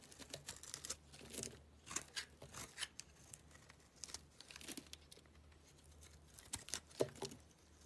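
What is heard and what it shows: A black utility knife blade cuts thin slices off a small, solid yellow soap bar held in the hand. The sound is a quiet run of crisp, bright scraping and crackling bursts with short pauses between them, each dying away almost at once.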